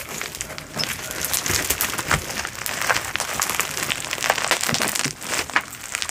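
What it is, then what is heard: Foam bead slime. A handful-sized blob of soft, solid glow-in-the-dark slime packed with small polystyrene foam beads, glowing blue under UV light, is spread out, then squeezed and kneaded by hands with long pointed nails. The result is a steady run of sticky, crunchy squishing with bright, crackling pops and little low end.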